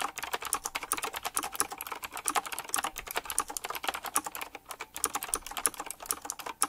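Fingertips type quickly on a full-size typewriter-style mechanical keyboard with round black plastic keycaps, chrome-look rims and a metallic frame. It produces a rapid, steady stream of sharp, bright clicks with very short decay and almost no low end.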